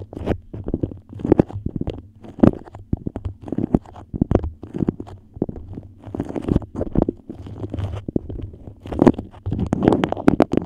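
A yellow beeswax-coated cotton food wrap, moulded into a dome over the mic, is scratched and tapped with long nails. Dense, crinkly scratches mix with quick dry taps and sticky crackles, with a low hum underneath throughout.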